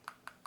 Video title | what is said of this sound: Boxycharm Premium Unboxing Oct 2020 | can hear that me shaking it it's really watery